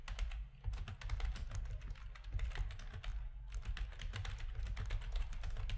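Fingertips of both hands type steadily on a full-size black plastic RGB-backlit keyboard with a hollow plastic housing, resting on a desk. The result is a quick, continuous run of short, dry key clacks with a deep, thumpy low body, brighter click tops, and only a brief lull near the start.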